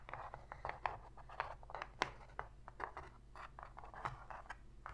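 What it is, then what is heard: Cardboard box lid being scratched. Long pink fingernails scratch across the inner surface of a shallow, empty white cardboard box lid. Rapid, dry scratching strokes with sharper scrapes are heard over a faint steady low hum. The scrapes are brittle and papery, centered around 1 kHz, and each one stops almost instantly.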